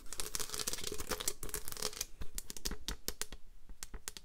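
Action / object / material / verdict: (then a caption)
tap / plastic paper trimmer / plastic / none. Long green nails scratch and tap the surface of a white plastic paper trimmer with an orange slider. Dense, bright scratching fills the first two seconds, then gives way to sharp, separate plastic taps with short, dry clicks.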